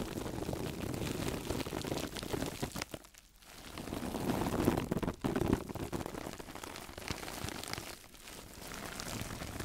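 A single hand-sized woven sisal fiber mesh sponge, soft and hollow-ish, is held in both hands and scratched and squeezed with long nails and fingertips. It makes a dense, crackly rustling and scratching with a warm low-mid body, and it briefly quiets around three seconds and again near eight seconds.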